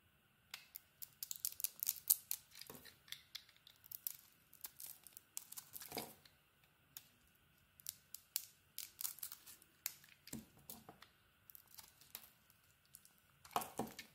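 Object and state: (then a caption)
Bar of soap being carved. A metal craft blade scrapes and carves thin curls from a hand-sized solid bar of soap, held in the hand, with a grey snowflake-patterned outer layer and a white inside. The result is a quiet run of short, dry, bright scraping and crackling strokes in irregular bursts, with occasional fuller, lower scrapes. A faint steady tone sits underneath throughout.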